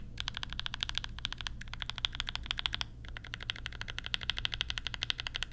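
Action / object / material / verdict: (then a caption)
tap / plastic mechanical keyboard / plastic / none. Fingertips type quickly on a compact mechanical keyboard with Banana Splits switches, pastel plastic keycaps and a lavender case. Dense, bright, crisp key clacks come in fast bursts, with short pauses near 1.1, 1.6 and 3 seconds. A faint low rumble sits steadily underneath.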